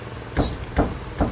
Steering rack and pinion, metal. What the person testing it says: medyo nararamdaman ko may alog yung rack and pin